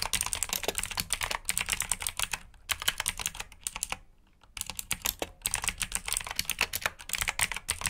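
A black plastic backlit mechanical keyboard with blue switches is typed on by two hands using fingertips, producing rapid, bright clicky keystrokes in bursts. A brief pause in the typing comes near the middle before it resumes at the same quick pace.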